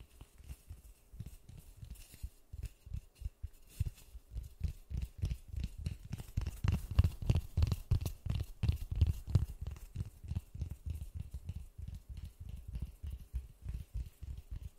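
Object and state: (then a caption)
Styrofoam ball. Gloved fingertips tap and scratch on a large white polystyrene foam ball, making a steady run of soft, dull, low thuds with light scraping between them. The taps come roughly three per second and grow a little louder toward the middle of the clip.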